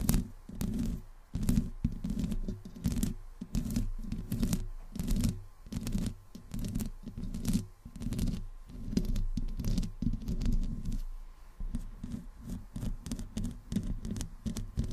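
Long fingernails of both hands slowly scratch the hollow metal mesh grille of a black microphone. The strokes come in an irregular run of close, muffled rubbing bursts, heavy and booming in the low end, with faint bright ticks from the nails catching the mesh.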